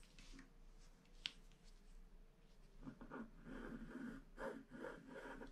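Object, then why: Wax-coated paper scratch card scraped with a wooden stylus. A wooden stylus scratches a flat black wax-coated paper scratch art card, filling in the planet at the bottom. Low, quiet scraping and one sharp tick give way after about three seconds to denser, rhythmic scratching strokes with a rough, papery texture over a faint steady hum.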